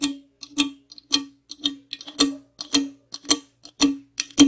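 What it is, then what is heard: Aluminum drink can, empty. A tall, hollow aluminum Monster energy drink can is tapped and scratched with long acrylic nails, first on its side and then on its top and rim. The result is a string of sharp, bright clicks with a short metallic ring near 277 Hz. Scratchy hiss runs between the taps.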